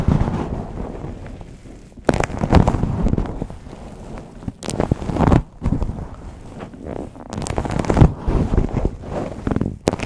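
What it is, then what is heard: Fabric microphone cover being scratched. Long pink nails and fingertips scratch and rub a green hexagon-pattern fabric cover wrapped over a microphone. The result is a deep, muffled, crackling rustle in irregular bursts that swell and fade, heavy in low rumble with little high-end content.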